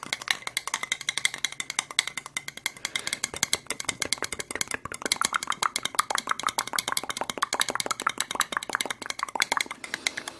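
A single small, clear, ribbed plastic medicine cup, hollow and empty, is tapped and scratched quickly with long red acrylic nails close to the microphone. A dense, steady stream of sharp, dry clicks with a bright plastic tone near 2 kHz fills the clip, each dying away almost instantly, with scratchy rustle between taps and no low end.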